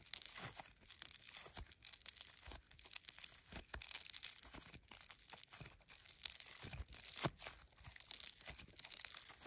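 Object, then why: Foam slime with polystyrene beads. A small handful of silver-grey floam, a sticky, soft slime packed with tiny polystyrene foam beads, is stretched apart and squeezed with bare fingertips and thumbs. It gives a steady run of bright, crisp crackles and pops with quick, sharp snaps scattered throughout. The sound is quiet and mostly high-pitched, with little low end.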